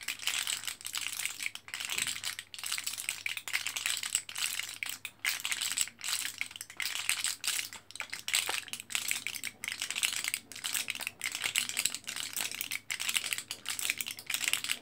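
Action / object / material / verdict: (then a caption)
scrape / plastic and foil blister pack of capsules / plastic, foil / none. Fingers on both hands press and crinkle the foil side of an orange, foil-backed plastic blister pack of capsules. The result is a dense, bright crackling and crinkling that runs almost without a break, with only brief dips and almost no low end.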